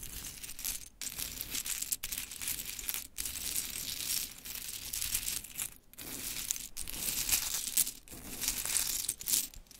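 Long pointed chrome nails tap and rake through a loose pile of mini pink wooden clothespins. The result is a dense, bright, crinkly clatter of small clicks and rattles, broken by brief quiet gaps.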